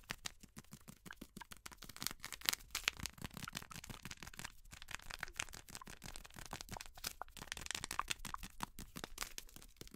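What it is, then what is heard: Plastic snack bag crumpled. An orange plastic/foil snack bag, back side facing out, is crumpled and squeezed by hands with long nails close to the microphone. Dense, crackling crinkles and sharp snaps fill the whole clip, bright and papery with little low end. The quiet crackle stays busy and steady throughout.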